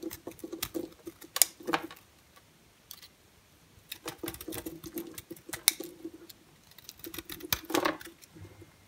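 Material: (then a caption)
Soap. A utility knife blade carves and scrapes a solid orange and white striped bar of soap, sending dry flakes falling off. Crisp, bright scratching and crackling comes in three uneven bursts separated by short quiet pauses, with a faint low hum under the scraping.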